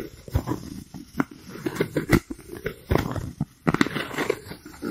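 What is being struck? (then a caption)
Styrofoam plate. A white round styrofoam plate is moved around a microphone while fingers rub and scratch it. Short, dry squeaks and scratchy bursts come and go against a soft rustling background, weighted toward the low-mids with little bright content.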